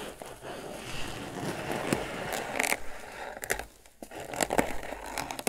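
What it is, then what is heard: Crocheted twine basket box. Fingertips scratch the top and sides of a grey crocheted twine lidded basket, making a steady, rough, dry scraping texture with bright rustling. Sharper bursts rise out of the scratching, and the sound briefly drops to near silence just before the four-second mark before resuming.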